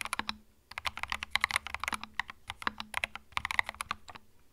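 Fingertips type quickly on a small white 65% mechanical keyboard with plastic keycaps and a hollow plastic case, resting on a felt mat. Bright, sharp plastic clacks come in quick bursts with a brief pause near the start, and each keystroke dies away almost instantly over a faint, hollow low tone.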